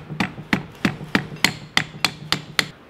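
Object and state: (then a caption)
Steering rack sleeve fully seated. A metal power steering rack sleeve on an MA70 MK3 Supra, coated with a little ATF, is tapped into the rack with an axle nut socket. Nine sharp, evenly spaced metallic taps are heard, each with a bright ring around 2 kHz that dies away almost at once. The final tap indicates the sleeve is fully seated.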